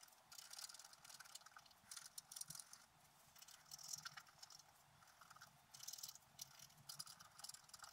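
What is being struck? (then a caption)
Coated scratch-art paper sheet scraped with a wooden stylus. A wooden stylus scratches across a flat black coated scratch-art paper sheet lying on a table while the other hand rests on the sheet. Quiet, bright, hissy scratching comes in uneven bursts of short strokes, with little low end and brief pauses between them.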